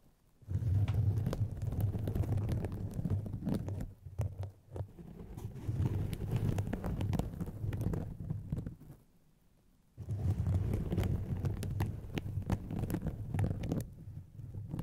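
Long painted fingernails scratch two hollow white polyethylene foam mesh fruit-protector sleeves stretched over microphones. The result is a dense, deep, muffled rustling that sits almost entirely in the low range with a throbbing undertone. It comes in steady bursts, with a short dip near four seconds and a brief silent pause around nine to ten seconds before the scratching resumes.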